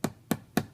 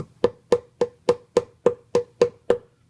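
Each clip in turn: First: thick solid wood panel, dull and non-resonant. Second: resonant thin plywood panel.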